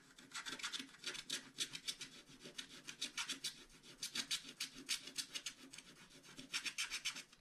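A wooden stylus scratches the coating of a flat scratch-art card page in quick, uneven back-and-forth strokes. Each stroke gives a dry, bright, rasping scrape with almost no low end, and the scratching continues steadily throughout.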